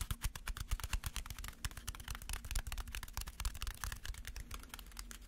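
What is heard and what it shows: A crumpled aluminum foil ball is tapped rapidly as a tapping trigger. It makes a dense, irregular run of crisp, crinkly clicks over soft low thuds, each tap dying away almost instantly.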